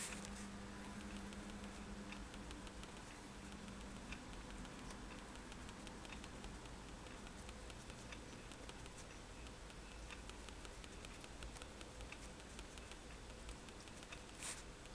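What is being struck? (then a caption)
Sheet of drawing paper on a table, tapped with a fineliner tip. A fineliner pen tip taps dots onto a flat sheet of white drawing paper resting on a table. Soft, quick ticks patter steadily over a quiet low hum, and a brief brighter scratch comes near the end.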